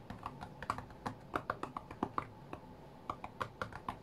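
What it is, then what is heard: Glass tablet touchscreen being tapped. Fingertips from both hands tap quickly on the glass touchscreen of a white iPad lying flat on a mat, playing a rhythm game. Around twenty short, dry, clicky taps land in an uneven, fast rhythm, centered near 1.1 kHz with almost no ring after each hit. The taps are quiet over a faint low background.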